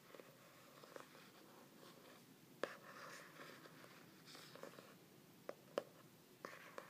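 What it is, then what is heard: Hardcover journal. Fingertips and nails tap and scratch the glossy laminated cover of a medium, solid hardcover journal printed with a stained-glass tree design. Soft, quiet scratching and brushing runs throughout, broken by five short, sharp taps with a clicky mid-range tone that die away almost instantly.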